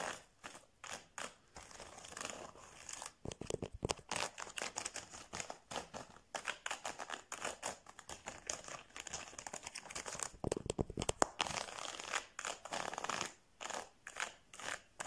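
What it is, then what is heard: Plastic felt-tip pens. Fingertips and nails tap and scratch along a row of slim plastic felt-tip pens with colored caps, lying side by side in an open case. Quick dry, crinkly clicks and scrapes come in rapid bursts, with bright, crisp detail and almost no low end or ring.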